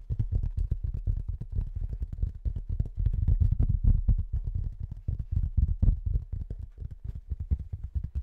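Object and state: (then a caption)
Cork tile board. A flat, thin, pale speckled cork tile about 30 cm square is held in front of the microphone and tapped with fingertips and nails. The result is a fast, continuous patter of soft, dull, low thuds that die away almost instantly, with little high-frequency content.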